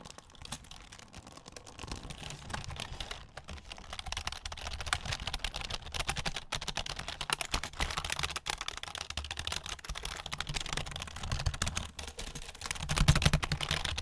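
A black plastic computer keyboard with a hollow plastic body is held vertically beside the microphone while fingertips tap and press its keys. Dense, irregular clicky tapping runs throughout, with a low thump under bright clatter and a faint crinkling. The taps grow louder toward the end.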